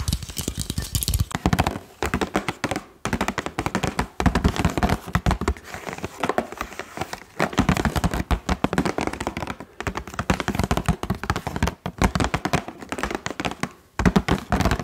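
A hand-sized Bref toilet rim block package, a hollow clear plastic blister over blue ball-shaped blocks on a cardboard backing card, is held in both hands while fingertips and nails tap the plastic. Dense, quick, dry tapping and light crinkling with short brief pauses carries throughout, with low thunks and crisp clicks that die away almost instantly.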